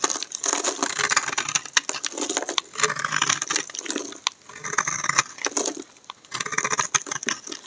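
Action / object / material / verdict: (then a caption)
scrape / bar of soap scraped with a knife blade / soap / none. A solid peach-colored bar of dry soap held in the hand is scraped with a black utility knife blade, curling shavings off its surface. Dense, crisp crackling and scratchy rasps come in bright bursts of rapid tiny clicks, separated by a few brief quiet pauses between strokes.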